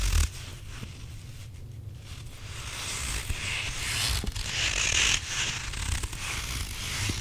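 Fingertips and nails scratch and rub the surface of a hand-sized grey stretchy rubber squishy possum toy that appears to have a gritty filling, while hands squeeze it. The result is a continuous crunchy, gritty scraping and rasping with bright hiss over a low, muffled handling rumble, swelling and easing irregularly.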